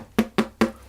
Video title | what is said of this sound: Garlic & Thyme Bread | sounds nice and hollow underneath